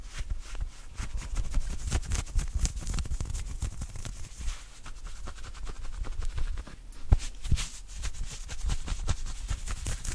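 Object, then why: Knit cotton polo shirt sleeve. Fingertips and nails scratch and rub fast across the shoulder and sleeve of an open-weave knit cotton polo shirt. The result is a dense run of short, dry scratching strokes with a low, muffled thump under a faint bright hiss, with a few sharper scrapes near the end.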